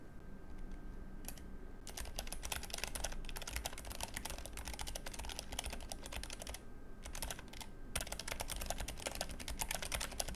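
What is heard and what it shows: Fingertips type steadily on a Keychron K3 low-profile mechanical keyboard with brown switches, grey plastic keycaps, a metal frame and red backlight. Rapid, bright clicking key presses come in dense bursts over a low background hum, with brief pauses near 1.5, 3.2 and 7 seconds.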